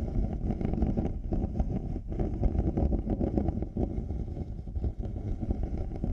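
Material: Plastic, faux leather.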